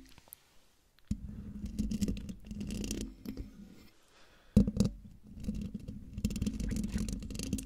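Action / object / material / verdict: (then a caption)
scrape / metal mesh microphone grille / metal mesh / none. Long dark nails on one hand scratch across the hollow metal mesh grille of a silver Blue Yeti microphone, close up. Two stretches of dense, rumbly scraping are heard, with a near-silent pause between them, and a sharp louder scrape opening the second stretch. The sound is mostly low and boomy, with faint brighter scratchy edges.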